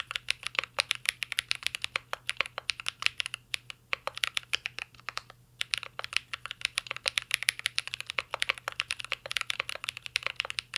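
Continuous fingertip typing on a mint-green Cyberboard R3 mechanical keyboard with plastic keycaps and a metal case. About 75 crisp, bright key clicks come in a fast, steady stream, with brief pauses near four and five and a half seconds. Each tap dies away almost instantly.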